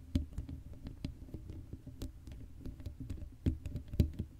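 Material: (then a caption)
Metal mesh. Long acrylic nails scratch and tap across the black metal mesh grille of an uncovered Blue Yeti microphone, a hollow dome. The result is a quiet run of irregular, short scratchy taps and patters, mostly low and dull with a faint bright edge, and a few louder knocks near the start and end.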